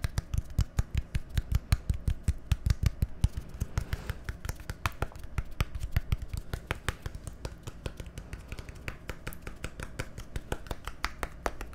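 A small, hollow, labeled plastic bottle with a green cap is tapped rapidly with fingernails. The result is a quick, irregular run of short, dry clicks with a low hollow thump beneath them and no ringing after each tap. The taps keep going steadily throughout.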